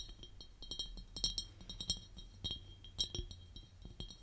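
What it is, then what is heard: Empty glass jar. Long painted nails tap and clink on the sides of a large, empty, clear glass jar with its lid off, standing on purple velvet. A quiet, irregular series of quick, dry clinks rings bright around 3.8 kHz with very short decay, over a faint low rumble.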